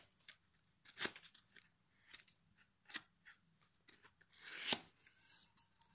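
A solid pine plank fitted with metal hooks, held in the lap, is sanded along its edge and face with a small piece of sandpaper pinched in the fingertips. It makes quiet, bright, scratchy rasps in short irregular strokes. A longer, louder rub comes near the end.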